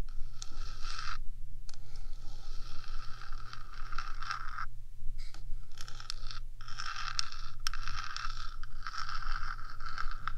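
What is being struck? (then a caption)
Metal microphone housing. Long acrylic nails on one hand scratch along the top of the hollow rectangular metal housing of a 3Dio binaural microphone. The result is a steady, dense scraping texture with a bright rasp and a constant low hum beneath, broken by a few brief pauses.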